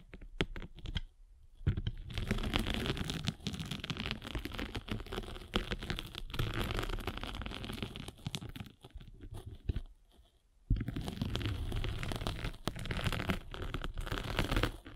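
A metal-spiked derma roller is rolled back and forth over a flat rectangular foam sanding sponge with a gray grit face and blue foam, held in the palm. It makes a dense, crunchy, scratching rasp with a low rumbling body. Two brief pauses break the rolling, near two seconds and near ten seconds.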